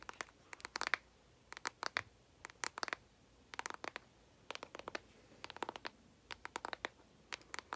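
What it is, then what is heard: Cardboard eyeshadow palette. A flat, hollow, rectangular, hand-sized cardboard Morphe eyeshadow palette with a speckled print is held in both hands while long acrylic nails tap and scratch its lid. Quick clusters of dry, sharp clicks and brief scratches come in irregular bursts, bright with almost no low end. Each one stops dead with no ring against a quiet background.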